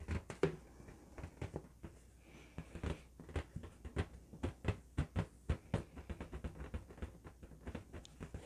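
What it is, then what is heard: Inflated latex balloon. A hollow, inflated blue LED-lit latex balloon is held and turned in the hands while fingertips and nails tap and scratch its surface. Many short, dull, thumping taps come in an irregular patter, mixed with faint rustling scratches. The sound sits mostly low, with little high-end brightness.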